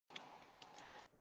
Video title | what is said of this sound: @madamglamofficial Gel Polish Haul Instagram Live with nail sister@Jessicasnailstudio | it sounds like it has a ball in there